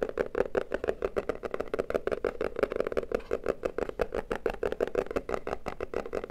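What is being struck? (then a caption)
Small closed cardboard box. Fingertips and nails tap rapidly on the flat sides of a small, hollow, closed red printed cardboard box held in both hands. The result is a fast, slightly uneven stream of short, dry, hollow knocks centred around a mid-low body tone, with almost no ring and little bright content.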